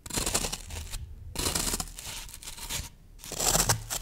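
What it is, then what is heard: Green floral foam brick. Fingertips and long nails scratch and crush the top surface of a solid green floral foam brick. The result is bright, crunchy, tearing scratches that come in three bursts separated by short pauses, with a faint low rumble underneath.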